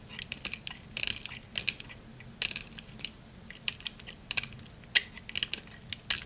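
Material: Soap.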